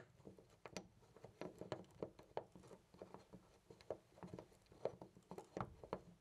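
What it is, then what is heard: Loose door knob. A hand grips a loose brass-colored metal knob on a white interior door and jiggles it in place. It makes quiet, rapid, dry rattling clicks with a faint metallic midrange ping around 540 Hz, each tap dying out almost instantly.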